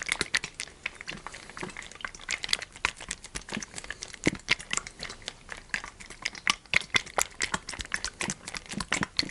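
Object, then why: Thin PET plastic bottle, partly filled with oil. Fingertips tap and squeeze a large, partly full clear PET plastic sunflower oil bottle with a green cap, held in one hand. A rapid, uneven run of short, dry taps and plastic crinkles comes through, mostly bright with a crisp emphasis near 2 kHz and almost no low end. Each tap stops almost instantly, leaving no ring.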